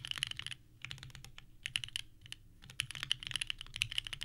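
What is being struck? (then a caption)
Mechanical keyboard with plastic ABS keycaps. Both hands type rapidly with the fingertips on a small 65% mechanical keyboard with a purple case, white GMK ABS keycaps and an FR4 plate, resting on a desk mat. Bursts of bright, clacky key presses with very short decay are heard, centered around 3 kHz, separated by brief pauses.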